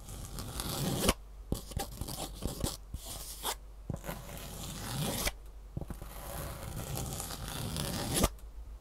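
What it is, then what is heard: Foam shoe insole with ribbed fabric top. Long nails scratch the ribbed fabric top of a green foam shoe insole held close. The result is a run of dry, rasping scratch strokes that swell in loudness and then cut off abruptly, mixed with short, sharp clicks and a low rumble underneath.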